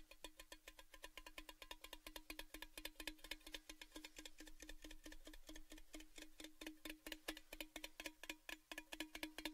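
Fingertips tap rhythmically on the sides of a tall, orange, cylindrical Baileys gift tin, hollow and apparently empty, held up with its open end facing down. About 65 quick, bright, hollow metallic taps follow one another at a steady, fast pace over a constant low ring near 309 Hz. Each tap dies away almost at once.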